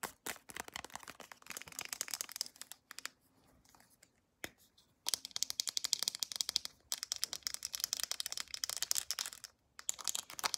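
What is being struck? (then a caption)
Plastic squeeze tube. Long acrylic nails tap quickly on the round cap and body of a white plastic lotion squeeze tube held upright, and the tube is squeezed. The result is a dense stream of sharp, bright, clicky plastic taps and crinkly scratches, with a brief quieter stretch in the middle before the rapid tapping resumes.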